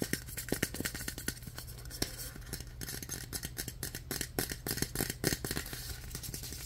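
A blue Coppertone Sport sunscreen spray can, a hollow cylindrical aluminum aerosol can, is held in both hands and scratched and tapped with fingertips and nails. Rapid, dense clicks and bright scratchy taps with short, dull metallic rings sit over a steady low hum throughout.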